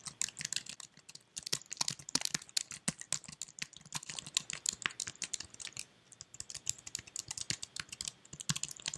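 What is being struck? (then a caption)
Plastic computer keyboard. Fingertips type on and tap the keys of a white, slim plastic computer keyboard, giving a rapid, uneven stream of crisp, bright clicks with almost no ring. The keystrokes come in quick bursts with a brief pause near the six-second mark.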